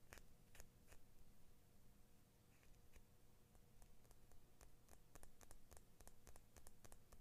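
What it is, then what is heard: Steel scissor blade, scratched and tapped. Fingernails scratch and tap along the steel blade of small children's scissors with orange and blue plastic handles, held in the other hand, with a large metal ring on the scratching hand possibly adding clicks. Quiet, sharp, bright clicks and short scrapes come in an irregular series over a steady low hum.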